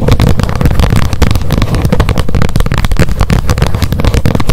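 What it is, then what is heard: Plastic lid of a wet wipes pack. Long nails tap rapidly on the top edge of the plastic lid of a wet wipes pack held upright. A fast, continuous run of short, dull tapping clicks, heavy in low thuds, with only a faint bright edge and each tap dying away quickly.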